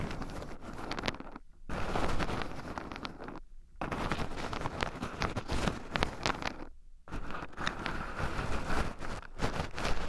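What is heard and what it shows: Two wooden chopsticks dig into and stir a small round wooden bowl full of shelled pine nuts, with two black microphone cables running over the bowl's rim. The result is a dense, continuous clatter of small nuts shifting and rattling against the wood, with bright clicky detail over a low rumble. The stirring breaks off into near-silence three times before resuming.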